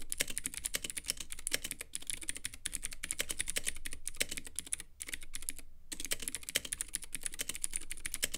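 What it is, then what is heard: Plastic mechanical keyboard with clicky switches. Fingertips type steadily on a Womier K66 compact mechanical keyboard with Gateron Blue clicky switches, white plastic keycaps and a clear, lit acrylic case. The result is a dense stream of sharp, bright clicks, each dying away almost instantly, with brief pauses near the five- and six-second marks before the typing resumes.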